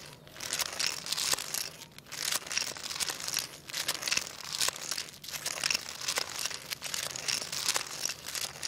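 A jointed wooden segmented crocodile toy is swished across a tile floor by fingertips, its solid wooden segments rattling together. The result is a steady run of dry, bright clicks and crinkly rustling that rises and falls in short waves, with almost no low end and very little ring after each tap.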